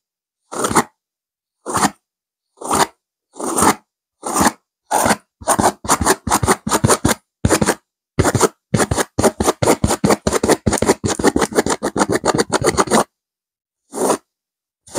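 Long nails on both hands scratch fast across a soft stuffed pillow with a purple velvet cover and a silver geometric pattern. Separate raspy, broadband scratching bursts speed up into a dense run of quick strokes, then stop. After a short pause, a final stroke follows.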